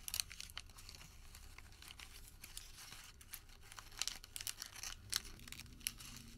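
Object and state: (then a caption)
Crumpled paper receipt. A crumpled white thermal paper receipt is twisted and pulled between fingertips, giving a dense run of bright, crisp crinkles and tearing-like rustles. Quick, sharp crackles flare up over a quiet, steady background, growing louder and more frequent toward the end.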